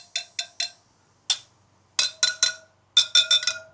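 A tight steel spoke on the rear wheel of a 2023 Triumph Tiger 900 Rally Pro motorcycle is tapped for comparison next to a loose spoke. It gives eleven bright, ringing metallic taps in groups of three, one, three and four. The ring marks it as a properly tensioned spoke, unlike the dead sound of the loose one beside it.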